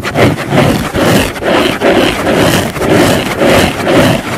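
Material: Foam.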